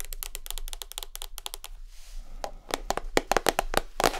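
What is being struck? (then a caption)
Small plastic butter tub. A small white Lurpak spreadable butter tub of rigid plastic, lid on and held in the hands, is tapped with long acrylic nails. Quick, light clicky taps come first, then a brief soft swish, then louder, sharper, more irregular taps with short hollow knocks.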